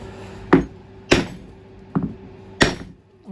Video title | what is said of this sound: LOTUS ELAN DIFF RE-COMMISSIONING | it sounds like it's bottomed out